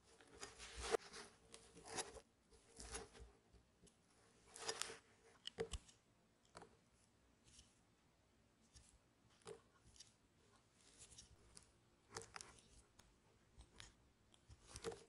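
A metal paring knife slices and scrapes flakes off the edge of a palm-sized solid white bar of soap, which is held in one hand and being rounded into a disc, while shavings fall onto a striped cloth below. Irregular soft crunching, scraping cuts come in short bursts with quiet pauses between. The strokes have a dry, bright texture and no ring.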